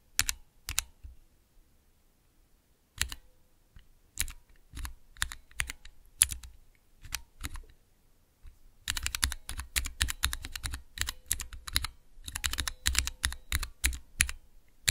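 Fingertips press keys on a small clear plastic Cherry MX switch tester with transparent keycaps. A few scattered, sharp clicky presses give way to a rapid, dense run of bright clacks with a low thock under each press. Every press stops almost instantly with no ring.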